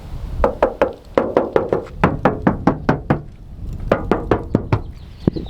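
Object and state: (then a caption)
Hollow, thin plastic interior trim. Knocking on the interior plastic trim panel of a new Toyota Land Cruiser gives about twenty quick, thin, hollow knocks that die away almost at once. They come in uneven bursts with short pauses between. The trim sounds cheap rather than solid, unlike older Toyotas.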